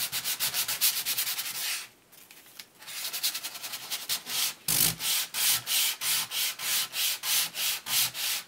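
A hand-held sanding block is rubbed repeatedly across the printed surface of a glossy laminated cardboard board book page lying flat on brown paper. It makes rhythmic, bright, hissy scraping strokes at a quick pace, with a brief quieter pause near the two-second mark. After the pause, the strokes return evenly and steadily.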